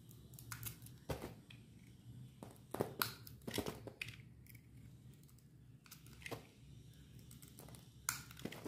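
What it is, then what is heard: Dry bar soap being cut. A solid white bar of dry soap with an orange coat, held in hand, is cut into chunks with a metal utility knife blade. Each cut gives a sharp, dry crunch with bright, high crackle, interspersed with quieter scraping and crinkling, over a faint low background rumble.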